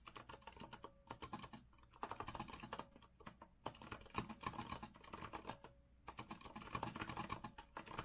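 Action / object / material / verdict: tap / metal-framed mechanical keyboard with round plastic keycaps / plastic and metal / none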